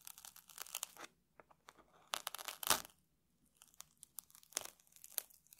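A small metal tool scratches and scrapes the crunchy surface of a round stack of puffed rice cakes in a red wrapper resting on a table. Quiet, dry, bright crackling and crunching scrapes come in short bursts separated by brief silent pauses, with almost no low end.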